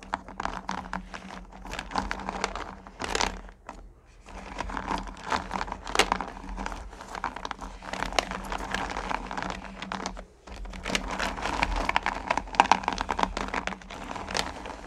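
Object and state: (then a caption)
Candy corn rummaged in a plastic bucket. A hand with painted nails rummages and scratches through small, solid pumpkin candy corn in a purple plastic pail. The result is a continuous, dense stream of crisp clicking, crinkling and rattling with bright edges, broken by brief quieter pauses near 4 and 10 seconds. A steady low hum sits underneath throughout.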